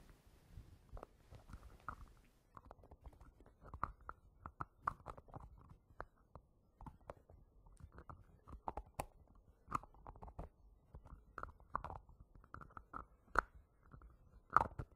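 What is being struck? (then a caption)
Small plastic screw-top jar. A small, round green plastic hair gel jar with a yellow screw lid, solid and apparently full, is held upright on a fabric surface while fingertips and short nails tap and scratch its lid. The result is an irregular stream of quick, dry taps and scratchy rubs with a hollow midrange click and almost no ring.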